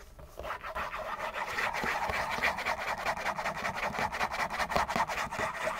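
A hollow printed-cardboard Kleenex tissue box, held in both hands, is scratched fast and hard with fingernails. After a brief quiet start, dry, papery rasping builds into a continuous stream of rapid, uneven strokes centered in the midrange with a bright, scratchy edge. Each stroke stops short with almost no ring.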